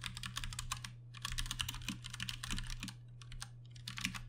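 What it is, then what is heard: Plastic mechanical keyboard. A Ducky One 2 Mini 60% mechanical keyboard with Cherry MX Brown switches and plastic keycaps is typed on with the fingertips of two hands. Bursts of bright, clicky keystrokes come in quick runs with short pauses between them, over a steady low hum.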